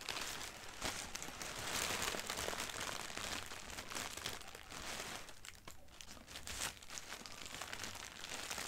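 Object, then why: Thin printed tissue paper. A crumpled sheet of thin white printed tissue wrapping paper lies on carpet while long painted nails scratch and crinkle it with both hands. The result is a steady, dense stream of bright, papery crackles and rustles with no clear gaps between sounds.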